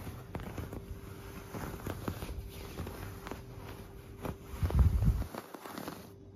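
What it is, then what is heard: Quilted fabric duvet. A flat hand with long black nails scratches and rubs a white, puffy quilted fabric duvet. Soft, muffled scratching and brushing strokes repeat unevenly, mostly low and dull with little brightness. A louder, fuller rub swells near the end before the sound fades.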